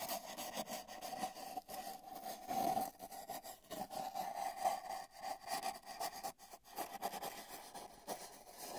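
A paintbrush's bristles brush near the right end of a long, hollow, spiral-wound cardboard tube with a microphone inside it. The result is a steady, hollow, rushing scrape that swells and fades in uneven strokes. The tube adds a resonant hum near 770 Hz, with little low end.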